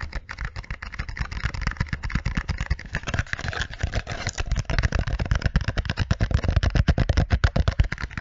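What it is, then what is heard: Small hollow cardboard box. A small, hollow, white and green printed cardboard product box is held up close in both hands and tapped rapidly with long nails and fingertips. It gives a steady run of quick, dull, low hollow thumps with light clicky edges, each dying away almost at once.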